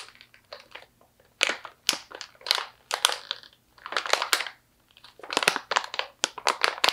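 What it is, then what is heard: Plastic snack pouch of almonds. A medium stand-up plastic pouch, partly full of slivered almonds, is squeezed, crinkled and scratched by hands with long nails. The result is a series of sharp, bright crinkling and crunching bursts separated by brief quiet gaps, with almost no low end.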